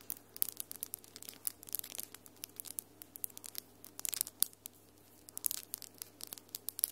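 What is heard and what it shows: Long almond-shaped acrylic nails with solid glitter polish tap and scratch against each other. The result is a quiet stream of bright, sharp clicks and scratchy rustles that come in irregular clusters over a faint steady low hum.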